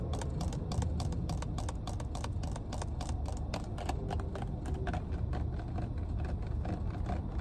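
Long nails tap the cap of a full, clear plastic water bottle inside a car, making a quick run of light, crisp clicks. A steady low rumble sits underneath the clicks throughout.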